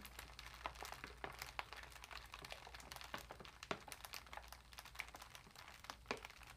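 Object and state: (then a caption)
Foil-lined plastic bag crinkling. A large, empty, crinkled cat food bag of foil-lined metallic plastic lies flat while long nails scratch it and fingertips press and rub it. Quiet, dense, bright crinkling is broken by frequent sharp crackles that die away almost instantly, over a faint steady low hum.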